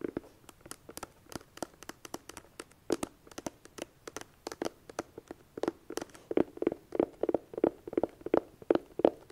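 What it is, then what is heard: Hollow cardboard eyeshadow palette. Long dark nails tap the lid and front edge of a closed, hollow red cardboard eyeshadow palette with a small metal clasp on the front edge. Around forty quick, dry taps fall in an irregular rhythm, each with a hollow midrange knock and a bright click that dies almost instantly. The taps grow louder and more resonant toward the end.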